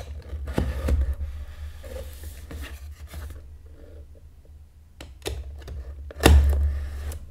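A grey box cutter blade is drawn along the taped seam of a small, taped corrugated cardboard shipping box held flat on a white table with the other hand, scraping and slitting the tape and cardboard edge. Dry, crackly scrapes and sharp slicing bursts sit over a steady low hum. The loudest, brightest cut comes near the end.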